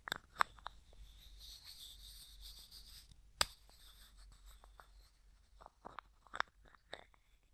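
Fingertips and nails tap, scratch and twist the white plastic screw lid of a small, hollow, clear plastic cosmetic jar with a few small items inside. Quiet, sharp, bright clicks and taps come at irregular intervals over a soft, hissy scratching that fills the gaps.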